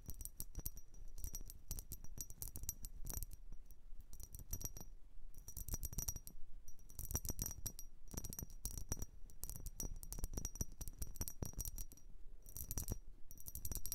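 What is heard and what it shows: A blue vase is tapped and scratched in quick, dense bursts, giving bright clinking, coin-like hits with short rings over a low thumping body. The taps come in clusters separated by brief pauses throughout.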